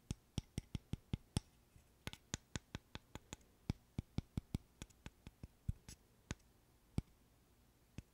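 A small, solid, light-wood interlocking burr puzzle is held in one hand and tapped and scratched with the fingernails. The result is 26 short, dry, sharp clicks at an uneven, quick pace, each with a soft low knock and a bright tick that dies at once with no ring. A few are doubled, and a faint hiss sits between them.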